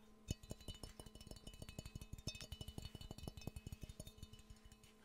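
A hollow, empty yellow glazed ceramic mug shaped like Pikachu is held and tapped quickly with the fingernails. It gives a rapid, quiet run of short clinking taps, each with a low knock and a brief bright ring.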